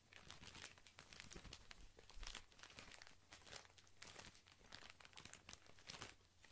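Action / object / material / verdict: scrape / cotton pad pack wrapped in thin plastic film / plastic film / none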